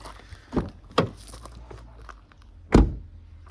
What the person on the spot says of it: așa se aude ușa când are sticle în ea